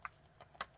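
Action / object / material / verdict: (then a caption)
shake / solid-state drive inside a laptop drive bay / circuit board / loose. An mSATA SSD, fitted on an adapter in the drive bay of a Lenovo Yoga 2 11 without brackets, is shaken inside the laptop with the bottom cover back on, giving a few faint, short, bright clicks and ticks. It rattles a little, meaning the drive is slightly loose, so foam is to be added to hold it in place.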